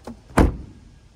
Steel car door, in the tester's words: nice and solid like a normal car door